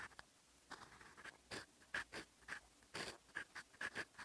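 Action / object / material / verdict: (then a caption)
scrape / steel pen nib on lined writing paper / paper / none. A fountain pen's steel nib scratches across a sheet of lined writing paper while writing in olive ink. Short, dry scratching strokes come in quick succession, each bright and papery with a faint high squeak. The result is a quiet, close, rhythmic sound of writing.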